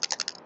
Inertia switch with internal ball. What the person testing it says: There's a little ball bouncing around and that is now open.